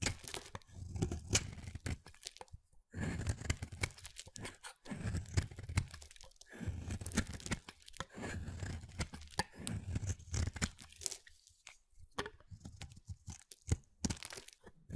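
A hand-sized, partly carved pale mint solid soap bar is shaved with a utility knife blade held against the thumb, and thin curls of soap fall away. The cutting and scraping make dry, crunchy, tearing strokes, heavy in the low end, in bursts separated by short quiet pauses.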